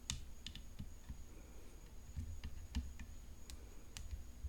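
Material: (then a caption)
Graphite composite. A rhinestone-decorated graphite composite tennis racket lies flat while long fingernails tap its hollow composite frame near the throat. The result is a quiet run of short, dry, bright clicks that die away almost instantly, with a steady low hum and a faint high tone underneath.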